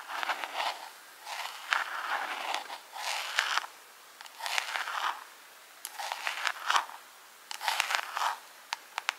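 Long pink acrylic nails tap and scratch rapidly on a small, hollow, clear plastic jar decorated with rhinestones. The sound comes in short bursts of dry, bright clicking and scraping with brief pauses between them. It is thin and crisp, with almost no low end.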